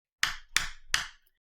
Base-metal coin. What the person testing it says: you can hear when I tap it -weak taps- that it is a much weaker metal.